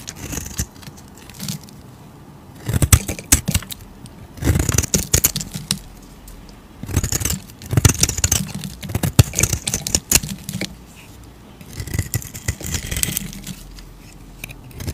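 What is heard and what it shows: A solid, hand-sized tan bar of soap is shaved and scraped with a metal utility blade, with the shavings piling up nearby. Bursts of crisp, bright scraping and crackly shaving come in several passes separated by quieter pauses, over a low, soft rumble.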